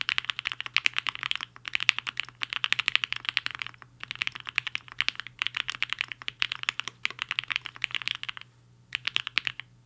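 A black-cased HI-FINGER 7.5 75% mechanical keyboard with a hollow case and white and pink plastic keycaps sits on a desk mat while the fingertips of both hands type on it. Fast bursts of crisp, bright, clacky keystrokes centered around 2.6 kHz break off into short pauses, with each tap dying away almost instantly. A faint steady low hum runs underneath throughout.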